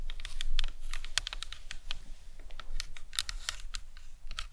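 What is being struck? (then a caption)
Plastic anatomical skull model. Long acrylic nails tap and scratch the cranium and temples of a life-size hollow plastic anatomical skull model resting on a towel. Quick, light, bright clicking taps come in an uneven patter, mixed with soft scratching over a steady low hum. Each tap is short and dry, with almost no ring.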